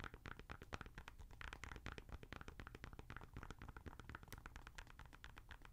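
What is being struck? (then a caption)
Knit mesh sneaker with foam sole. Long nails scratch quickly along the side and white foam Boost midsole of a grey Adidas NMD R1 sneaker with a knit/mesh upper, held empty and hollow in hand. The result is a quiet, dense run of rapid scratchy strokes with a soft low rumble underneath and short, dry crackles that don't ring.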